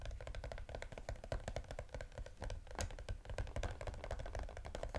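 Fingertips and nails rapidly tap and scratch a small striped cardboard EOS gift box with a clear plastic window, holding lip balm spheres. The taps are quick, dry and clicky over a soft, low, hollow thump, each dying away almost at once. They form a steady, dense patter.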